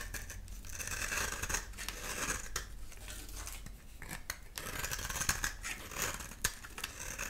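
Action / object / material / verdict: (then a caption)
scrape / bar of soap / soap / none. A metal utility knife blade scrapes repeatedly across a solid, dry cream soap bar held in the hand, peeling shavings off. The strokes make a steady, bright, raspy scratching with a few sharp clicks. The scraping continues evenly throughout the clip.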